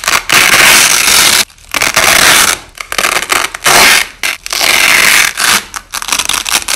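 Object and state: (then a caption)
Nylon hook-and-loop tape being peeled. A hand peels the top layer of white nylon hook-and-loop (Velcro) tape off and lays it back down, making long, bright, crackling rips separated by short pauses. The audio is slowed down, stretching each tearing sound into a drawn-out, grainy scrape.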